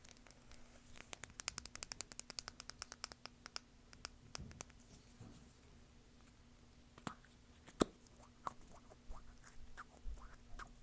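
Long painted nails tap and scratch a small, hollow, egg-shaped plastic lip balm container with a cream body and blue cap, held in the hands. Quick, sharp, dry clicks come in a dense run for the first few seconds, then give way to softer scratching and scattered louder taps. A faint steady low hum sits underneath.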